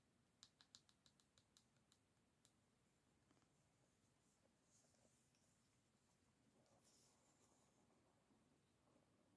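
Long nails flick across the wooden pins of an oval bamboo or wooden paddle hairbrush, its pins set in a black rubber cushion, as it lies on a dark table. A quick run of sharp, bright clicks opens the clip, then gives way to a soft, steady scratching rustle with a few faint ticks.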